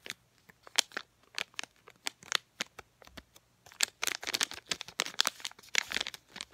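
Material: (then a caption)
Plastic. Long painted nails crinkle, scratch and tap a small sealed plastic DenTek packet of floss picks. Sharp, bright crinkles and crisp clicks come in short bursts that grow denser and louder over the second half.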